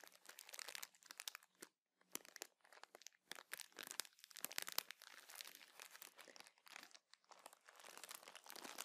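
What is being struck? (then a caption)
Plastic bag of cotton pads. A soft clear plastic bag of cotton makeup remover pads with a teal label is held in the hands and crinkled and scratched with fingers and nails. Quiet, bright crackling crinkles come in dense bursts separated by brief silences, with almost no low end and no ring after each rustle.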